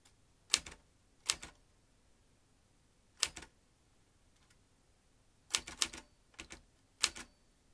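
Fingertips type on the round keys of a vintage metal manual typewriter with fanned typebars, a red-black ribbon spool and paper loaded in its hollow mechanism. The result is sharp, bright, dry clacks that die away almost instantly, falling in scattered clusters of two or three with quiet pauses between.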